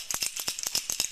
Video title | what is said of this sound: Southshore Anglers 201502 Eric Bachnik from Mirrolure | got a high pitch frequency. Sounds like a tin can. This has two rattles inside the bait. You hear that really loud.